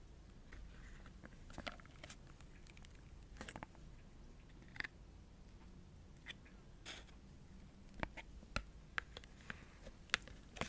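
A small, hollow printed cardboard cosmetic box held in the fingers is tapped and scratched with long nails. The sound is a quiet series of short, dry clicks and scratchy ticks. The ticks come unevenly over a low, steady background hum, with brighter isolated taps toward the end.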